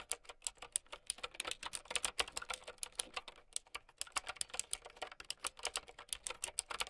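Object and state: Plastic mechanical keyboard.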